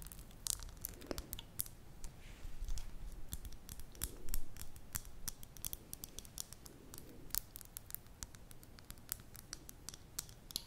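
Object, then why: Glass candle jar with metal lid. A medium glass candle jar filled with solid mint-green wax, unlit, with its silver metal lid on, is held in both hands and tapped and scratched with long manicured nails on the glass side and the lid. Many sharp, bright clicks and ticks come in quick, uneven bursts over a low, soft rumble, with brief scratchy swells in between.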